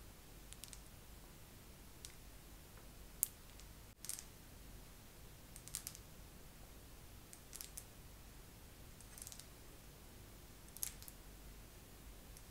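A face massager is tapped slowly with long nails, giving sparse, quiet, bright clicks with no ring. The taps sit over a steady low rumble of background noise.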